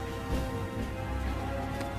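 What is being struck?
Nothing is struck.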